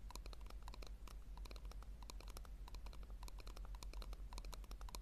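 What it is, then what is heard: Plastic tub tapped with nails. Long nails tap rapidly on the base and sides of a small, hollow, round pink plastic tub as it is turned in the hands. The result is a quick, uneven run of short, dry clicks with a bright edge, set over a steady low hum.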